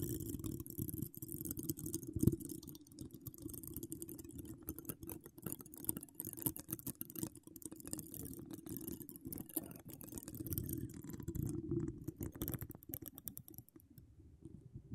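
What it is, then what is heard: Metal mesh microphone grille being scratched. Long decorated acrylic nails scratch and tap a hollow metal mesh microphone grille, with no cover on the mic. A dense, continuous stream of quick scratches and soft taps gives a muffled low rumble under a faint bright crackle, with one sharper tap early on. The sound stays quiet and steady, then thins out toward the end.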